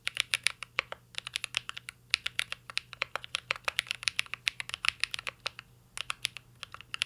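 Fingertips of both hands type steadily on a full-size CYBERBOARD R3 mechanical keyboard with an aluminum case, plastic keycaps and Holy Panda switches. The result is a fast run of crisp, bright clacks with almost no low end. Each keystroke dies away almost instantly, with a few brief pauses between bursts.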